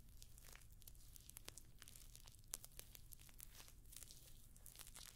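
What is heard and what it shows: Long nails scratch and tap across the rows of small, hollow, rose-gold metallic pyramid studs covering a rectangular clutch purse held up close to the microphone. The result is a quiet, steady stream of dry, bright clicks and crinkly, tearing-like scratches over a low background rumble, with one sharper tick about halfway through.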